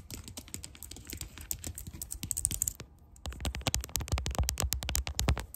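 Long dark nails rapidly type on and tap the keys of a clicky white plastic computer keyboard. A dense stream of sharp, quick clicks comes with low thuds, pauses briefly near the three-second mark, then resumes just as fast and a little louder.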